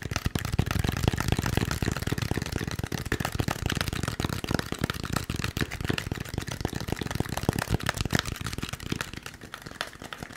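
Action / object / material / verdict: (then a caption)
tap / expanded polystyrene foam packaging block / polystyrene foam / none. A white, molded, partly hollow expanded polystyrene foam packaging block is held in the hand while fingertips rapidly tap and scratch its surface. The result is a dense, continuous run of short, dry, hollow thumps with a papery crackle on top and no ring after each hit, growing slightly quieter near the end.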